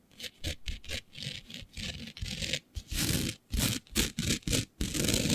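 Long nails scratch a flat sheet of black fabric covered in fine green glitter, making a series of short, bright scratching and rubbing strokes with a low rustling body. The strokes run loose at first, then turn louder and more clipped, ending in a longer continuous scrape.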